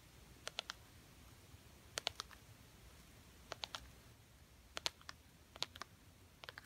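Long painted nails tap and scratch a small, thin, solid gold glitter-coated plastic butterfly ornament hanging on the tree. About seventeen sharp, bright clicks come in quick clusters of three or four, each dying away almost instantly over a quiet background.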